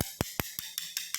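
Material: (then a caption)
Ceramic. A coin taps installed ceramic floor tiles near the main door seven times, and each tap is a short, bright click that dies away almost at once. The tapping shows the tiles are solidly bonded with no hollow spots.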